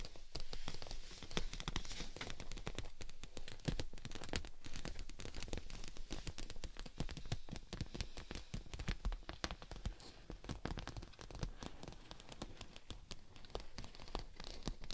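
Long nails and fingertips scratch and tap the thin surface of a clear PVC dome umbrella canopy set over a mannequin head. It makes a dense, steady stream of quick, crackly taps and scrapes with bright clicks over a heavy low rumble.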